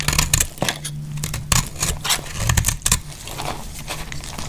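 A metal blade scrapes shavings off the edge of a solid, faceted bar of dry green soap held in the hand. A run of short, dry, bright scraping and crackling strokes comes in quick bursts, with a steady low hum underneath. Thin soap shavings are cut from the bar.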